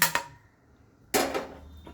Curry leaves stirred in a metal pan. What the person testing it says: हे बघा खुळखुळ आवाज येतोय